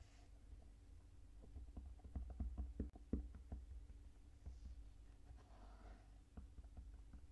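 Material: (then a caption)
Kinetic sand. Fingertips press into a flattened pink mound of kinetic sand, a moldable sand material, on a white table, tapping and patting its surface. The result is soft, dull, muffled taps at an uneven pace, with the firmest pats clustered in the middle of the clip, over a quiet low rumble.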